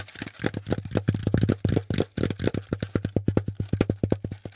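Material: Cardboard.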